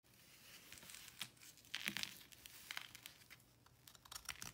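A small knife blade cuts and scrapes into the edge of a round, palm-sized, solid block of pressed, slightly damp white salt held in one hand with long painted nails, crumbling it. Quiet, bright, gritty crunches and scratchy crackles come in quick, uneven bursts, each dying away at once with almost no low end.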